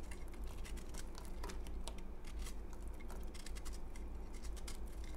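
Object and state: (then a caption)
Dried soap bar, dry and crumbly. A utility knife blade scrapes and crumbles a solid, porous, crumbly pale green bar of dried soap held in the hand. Quick, dry crackling scrapes and tiny crumbling ticks rise over a steady low hum that stays constant throughout the clip.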